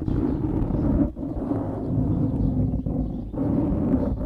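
Fingertips scratch and squeeze a black foam windscreen on a microphone, making a continuous muffled, crackling rustle. The sound is heavy in the low end with no bright top, with a steady body around 300 Hz. It dips briefly a few times as the pressure lets up, then resumes.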